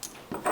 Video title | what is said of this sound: How to polish a badly-scratched watch crystal | it sounds a lot heavier. It's just, so it's got a kind of much more solid feel to it